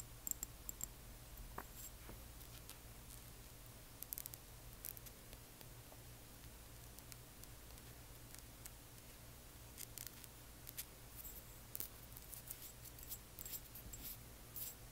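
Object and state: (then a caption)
Glass dropper bottle. A small frosted amber glass serum dropper bottle with liquid inside is held and turned on its side while long nails tap and scratch the glass. Quiet, bright clicks and scratchy ticks come in scattered bursts over a steady low hum, each tap dying away almost instantly.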